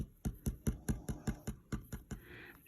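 An old, tightly curled antique paper photograph is tapped ten times in a steady rhythm, each tap a short, dull, low thud that sounds hollow. The hollow sound shows it is dry and brittle; it had already snapped when flattened and needs moisture in a humidification chamber.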